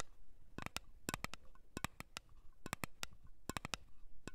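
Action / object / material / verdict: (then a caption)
tap / small round metal cream tin / metal / none. Long nails tap and scratch the lid and rim of a small round blue metal Nivea cream tin held in the hand. About nineteen quick, dry, bright clicks arrive in irregular clusters with no ringing, separated by a faint scratchy hiss.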